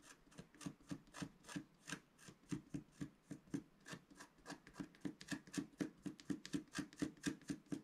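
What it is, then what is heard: Scratch-art paper being scratched. The pointed tip of a wooden stylus scratches a flat, letter-sized sheet of black-coated rainbow scratch-art paper from a scratch book, held flat on a table. Fine, repeated strokes make short, dry scraping rasps at about two per second in an uneven rhythm, each with a brief midrange tone and a bright hiss. Each stroke stops almost at once with no ring.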